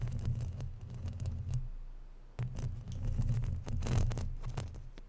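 Long natural nails scratch and rub a round, hollow woven metal mesh microphone grille and its sides. The sound is a dense, irregular run of scratchy clicks and bright crackles over a heavy, booming low rumble. It fades briefly, then returns louder.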